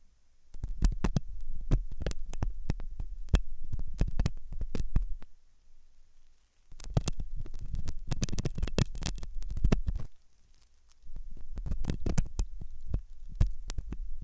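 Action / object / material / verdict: scrape / soft silicone ear model scraped with a metal pick / silicone / none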